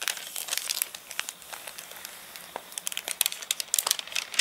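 Fingertips scratch and rub over the wavy, dried-out glossy pages of an open paper catalogue that has dried after getting rained on. The result is a bright, dry crinkling made of quick, irregular crackles and snaps with almost no low end. It eases to a softer rustle in the middle, then turns into a busier burst of sharp crinkles toward the end.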